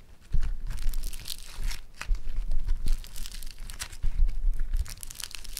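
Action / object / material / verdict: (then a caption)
scrape / foam-bead modelling clay / foam beads / none. Yellow foam-bead clay is stretched and torn apart with both hands, then rolled into a ball. Irregular bursts of crackling, tearing and crinkling ride over a low, rumbling thud, with bright, dry pops from the beads.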